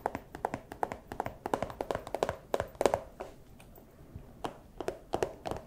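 A small, empty clear plastic pouch, held close to the microphone, is tapped and scratched with fursuit claws. It makes a quick run of short, dry, crinkly plastic taps with a bright edge, pauses briefly near the middle, then resumes tapping.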